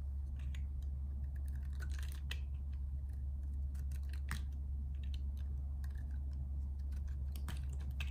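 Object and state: Bar of soap being carved.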